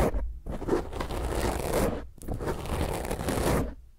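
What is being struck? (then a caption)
Foam microphone windscreen. Long fingernails scratch hard across a soft, porous black foam microphone windscreen, making a loud, rough, crackling scrape heavy in low rumble with little high-end brightness. The scratching comes in two long bursts separated by a brief pause, then fades out.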